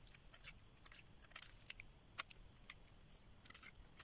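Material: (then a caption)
Soap. A solid green rectangular dry soap bar, held in hand, is carved and scraped with a metal blade, peeling off long shavings. Quiet, crisp, high-pitched scratches and crackling snaps come in an irregular series, each dying away almost instantly over a faint background hiss.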